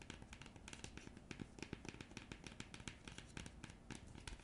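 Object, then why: Thin printed cardboard coaster scratched and tapped with fingernails. Long nails scratch and tap the printed surface of a thin, flat, round printed cardboard coaster. The result is a quiet, rapid run of dry clicks and scratchy rasps with bright, crisp edges, each dying away almost instantly.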